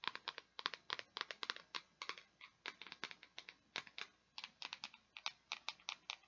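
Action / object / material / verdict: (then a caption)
scrape / plastic peg board / plastic / none. Long nails scratch across the grid of small pegs on a small, flat, solid purple plastic peg board. The result is a rapid, uneven run of short, bright, dry clicks and ticks, like fast typing. Each tick dies away almost instantly, with no low-end body.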